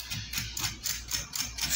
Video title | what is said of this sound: SEM GLÚTEN- SALGADO SEM LEITE E GLÚTEN RÁPIDO E FÁCIL | ficou bem crocante meu Deus